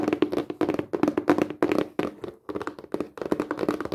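Long painted fingernails and fingertips tap rapidly on a flat, rectangular, hollow printed cardboard craft kit box held upright. The taps come in quick bursts with short pauses and give dry, hollow knocks with a low-mid boxy resonance that dies away almost at once.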